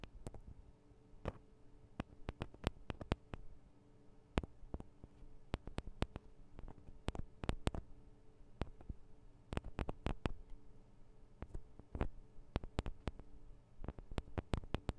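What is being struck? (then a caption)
Small metal microphone capsules on a handheld recorder. Fingertips and nails tap on the sides of the small metal microphone capsules of a Tascam DR-40 recorder. The result is a quiet, irregular stream of sharp, dry clicks that stop almost instantly, some soft and some bright and snappy, over a faint steady low hum.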